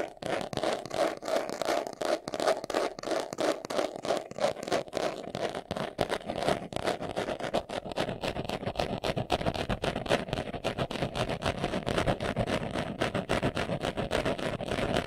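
Fingernails scratch quickly across the front of a small, hollow, brown pebbled leather glasses case held in the hands. The result is a dense, continuous run of dry, rasping scratches with a faint midrange tone around 640 Hz. Each stroke stops short with almost no ring.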